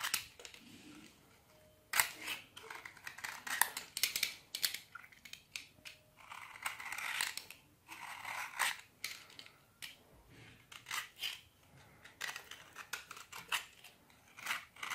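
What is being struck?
Bar of soap scraped with a metal blade.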